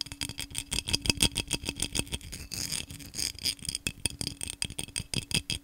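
Fingernails rapidly tap and scratch the patterned surface of a tall, hollow, empty cobalt-blue vase of textured glass. The result is a fast run of bright, clicky taps that die away almost instantly, broken by a stretch of gritty scratching in the middle before the quick tapping returns.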